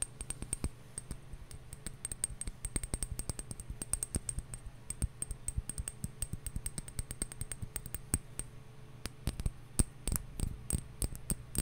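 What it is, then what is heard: Glass bottle. A glass bottle is tapped, first slowly and then in quicker runs, giving dense trains of short, clinking glassy taps that die away almost instantly. A faint low hum sits under the taps, with a thin high tone running throughout.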